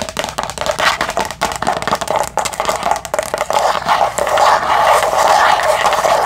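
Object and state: Thin plastic container lid.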